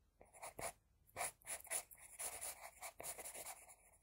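An HB pencil scratches across a flat sheet of drawing paper, drawing hair strands. Quick, irregular strokes give soft, dry scratching bursts with a bright, high hiss and almost no low end.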